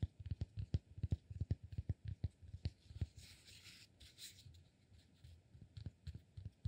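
A palm-sized solid cork block is turned in both hands while fingertips tap and scratch it. Quick, dull, low-pitched taps come in an uneven rhythm, giving way midway to a soft, brighter scratching rustle before the tapping resumes.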